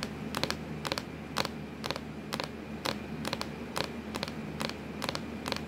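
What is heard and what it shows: Long acrylic nails tap and scratch on a hollow, black textured plastic laptop lid, giving a series of short, bright clicky taps, some in quick doubles, at an uneven pace. A faint steady low hum runs underneath.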